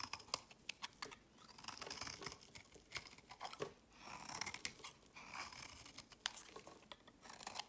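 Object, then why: Bar of soap. A hand-held solid rectangular bar of pink and white striped soap is shaved and carved with a utility knife blade, so curls and flakes fall off. Quiet, bright scraping and crisp crackling cuts repeat in quick bursts, with many short sharp snaps between softer swishing shaves.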